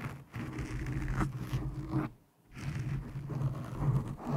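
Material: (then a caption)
Foam. Long painted nails on both hands scratch a black foam windscreen over a microphone, making a continuous, muffled, low-pitched rumbling scratch with little high end. The scratching pauses into near silence briefly just past the midpoint, then resumes.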